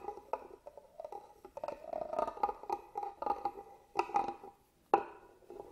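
A small black tool traces and scratches along the carved pattern of a hollow, hand-carved wooden box held upright. It makes a dry, hollow run of scrapes and light clicks centered around 800 Hz, with little low end. Sharper, louder knocks land near the four- and five-second marks before the scratching quietly resumes.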